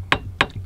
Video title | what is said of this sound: S1:LAWG,E:24 - Solving New RV Issues - Nomadic Native | this bar tapping against this bracket